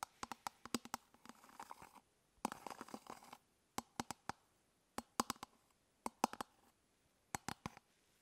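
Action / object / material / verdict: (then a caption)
tap / hard plastic toothbrush travel case / plastic / none. Long fingernails tap and scratch the curved top of an elongated, hollow hard-plastic toothbrush travel case held in one hand. Quick clusters of sharp, dry, hollow clicks stop dead with no ring, broken by two stretches of busy scratching in the first half. The taps then thin into sparse groups separated by silence.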